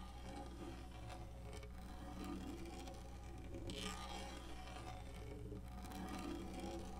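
Long natural index-finger nails scratch the textured surface of a large black plastic lap tray with cup holders and a hollow molded body, resting on a leather couch. The result is a steady, quiet, continuous rasping scratch with faint bright texture over a strong low, hollow hum.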